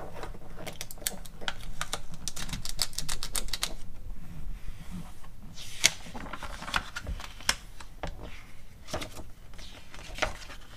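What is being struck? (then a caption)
Glossy paper magazine. Long acrylic nail tips tap rapidly on the glossy paper pages of an open magazine catalog, and pages are turned. Sharp, bright clicks come in fast, uneven bursts over a low, steady rustle, with dense runs of taps early on and sparser, louder taps later.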